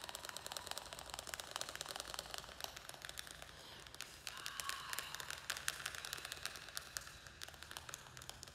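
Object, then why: Small plastic plant pot with soil. A small square black plastic nursery pot, filled with soil and a string-of-pearls plant, is held in the hands and tapped and scratched with fingernails. Rapid, quiet, dry clicks with a bright, crisp edge fill the clip, broken midway by a brief rasping scratch.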